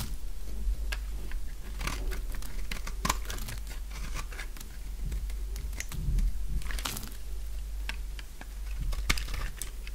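A utility knife blade scrapes and cuts brittle flakes off the face and edge of a purple solid dry soap bar. Many short, crisp crunching and crackling scrapes come in a dense, uneven stream, bright and dry over a steady low hum.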